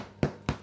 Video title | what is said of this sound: Pain de campagne, initiation boulangerie, la recette du Chef Cyril San Nicolas | ça sonne encore assez lourd donc ça veut dire que ce n'est pas cuit